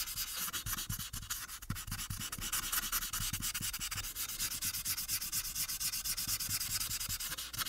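A marker tip rubs in small, rapid strokes at the right edge of a thin paper coloring sheet on a clipboard, held steady by the other hand. It makes a steady, bright, scratchy hiss with a quick rhythmic pulse from each back-and-forth stroke, plus a faint low rumble underneath.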